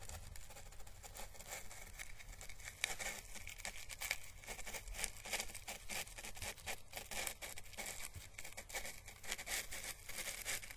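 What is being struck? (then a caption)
Dried papery Chinese lantern husk (plant calyx). A small, hollow, papery orange dried Chinese lantern husk, a plant calyx held by its stem, is brushed with paintbrush bristles. It gives a quiet, steady run of dry, crisp crackles and scratchy rustles that tick rapidly with no ring, bright in tone around 2.3 kHz with a soft low rumble underneath.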